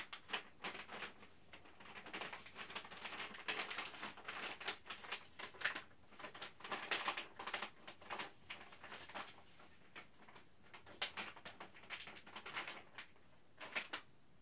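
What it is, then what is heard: Crinkled plastic bag. A flexible printed plastic Ziploc Zip'n Steam retail bag, empty-looking, is held in both hands and crinkled, squeezed and rubbed with the fingertips. Its surface gives off dense, bright crackling and rustling in irregular bursts with quick decays. Louder crunches rise from a softer steady rustle throughout.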